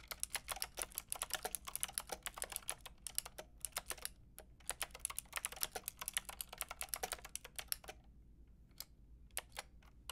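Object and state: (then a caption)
Plastic mechanical keyboard. Fingertips with long red nails tap rapidly on a Lofree mechanical keyboard with a white plastic case and round pink and grey plastic keycaps. The keys make dense, bright, sharp plastic clicks with very short decay. The typing thins into a few sparse taps near the end.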